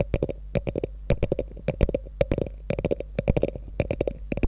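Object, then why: Quilted faux leather handbag. Long nails scratch and tap the quilted top and flap of a small, hollow, beige quilted faux leather handbag with a gold metal logo, resting on fur. Quick bursts of dull, hollow tapping and short scratching strokes come in uneven clusters, each hit dying almost instantly. A steady low hum sits underneath throughout.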